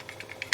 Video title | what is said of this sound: How airbag modules work-clear crash data-reset airbag modules-reuse airbag modules - SRS module | this actually has a moving piece inside of it. Okay, and if you shake it, you can hear it move.